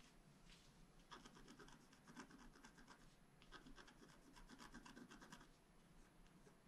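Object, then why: Scratch art paper card scraped with a wooden stylus. A wooden stylus scratches dense short strokes across the top of a flat black scratch art paper sheet lying on a table. Quick, dry rasping scrapes come in bursts, bright and papery with a slight tonal edge, over a faint low hum.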